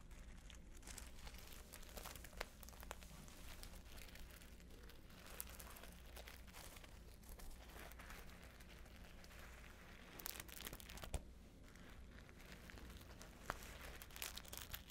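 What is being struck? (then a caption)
Beaded fabric clutch with glass seed beads. A flat, hollow patchwork clutch covered in multicolored glass seed beads and fringe is held up and scratched with fingertips and long nails. The result is a quiet, continuous crinkly rustling and scratching over a steady low hum, with a few sharper bright clicks standing out near the middle and end.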